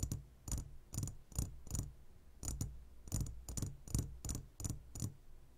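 Fingertips and short nails of both hands tap the sides of a clear glass jar full of gummy candies, making 14 quick taps in an uneven rhythm. Each tap gives a dull low thump with a bright glassy click on top that dies away almost at once.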